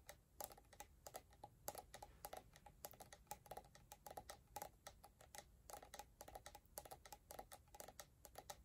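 Long painted nails tap and scratch the orange plastic lid and body of an empty, hollow, clear plastic scrub jar. A quiet, rapid, irregular stream of short, dry clicks and ticks, each with a brief hollow plastic ring around 820 Hz and a bright edge, with faint scratching between taps.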